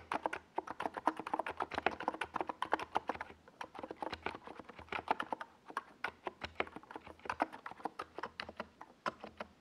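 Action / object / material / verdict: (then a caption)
tap / plastic mechanical keyboard / plastic / none. Fingertips of both hands type fast on a compact 68-key NiZ Plum Atom 68 mechanical keyboard with a white plastic case and purple and yellow Domikey Gas Attack SA plastic keycaps, resting on a desk pad. A steady stream of quick, clacky keystrokes is heard, each a short, dry tap centered around 940 Hz with a bright edge that dies out almost instantly, with brief pauses between bursts.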